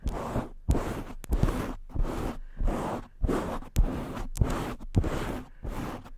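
Long nails and fingertips of both hands scratch and swirl over the foam cover of a black microphone. Repeated rough, rustling bursts, heavy in the low end, are broken by short gaps, and soft thumps mark the start of many strokes. The irregular scratching keeps going the whole time.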